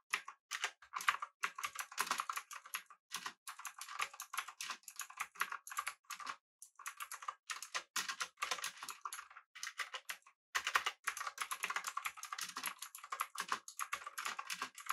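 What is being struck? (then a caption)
Mechanical keyboard, aluminium case with plastic keycaps. Fingertips of both hands type rapidly on a full-size, backlit, typewriter-style mechanical keyboard with blue switches, an aluminum body and round plastic keycaps. A dense stream of sharp, bright clicks with almost no low end is broken by brief pauses, giving a crisp, clattering typing sound.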